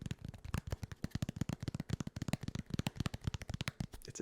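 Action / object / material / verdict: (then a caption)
tap / foam packaging corner piece / dense foam / dense. Rapid tapping on a dense, solid foam corner protector that came packed with a desk. It produces a quick series of deep, dull taps with almost no ring. The foam is denser than EVA foam.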